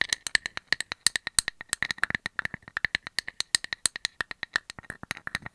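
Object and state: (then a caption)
Wood slice tapped with metal nail caps. A hand-sized round slice of solid wood with its bark edge and a painted cartoon face is tapped and scratched with metal nail caps. About 43 quick, sharp, dry clicks rattle out in an uneven stream. They are bright and tinny, with almost no low end and no ring after each tap.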